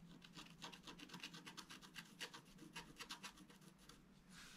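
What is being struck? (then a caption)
Black-coated scratch art paper scraped with a wooden stylus. A wooden stylus scratches quick back-and-forth strokes on the central column of a flat, black-coated scratch art paper card. Bright, raspy scraping bursts repeat in a steady rhythm, each stroke short and dry with almost no ring, over a faint low background hum.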